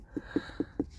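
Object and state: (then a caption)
Ripe pumpkin, hollow sound. A ripe giant pumpkin, its skin hardened too much for a fingernail to pierce and its stalk turning green, is tapped four times, giving short, dull, hollow thuds pitched around 300 Hz. The hollow sound marks it as ready to cut from the stalk.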